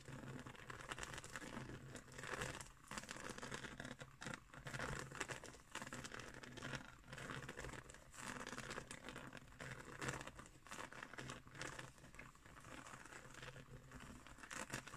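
Long nails scratch along the coils of a round, flat woven straw trivet, producing a steady run of dry, crinkly scratching that rises and falls in short bursts. The rasping texture is bright and papery, with a faint steady low hum beneath it.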